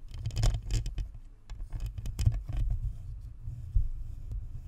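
Long nails on both hands tap and scratch the metal grille and plastic shell of a white plastic spherical USB microphone. The result is a stream of deep, muffled thumps and rumbling pats, with quick, bright scratchy rasps scattered through it.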